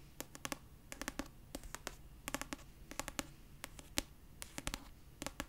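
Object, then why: Paperback book with paper cover. Long purple nails rapidly tap and scratch the paper cover of a solid pastel paperback copy of "Red, White & Royal Blue." The result is quick clusters of sharp, dry clicks with a faint hollow tone around 285 Hz and bright tips, each dying out almost instantly over a soft, papery scratching hiss.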